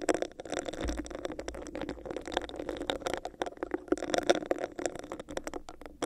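Long nails scratch over a hollow, empty, clear, bumpy textured plastic cup held over a microphone. The result is a rapid, continuous stream of dry, crackling scratches with a hollow, boxy resonance around 350 Hz. A faint low rumble runs underneath from about the first second onward.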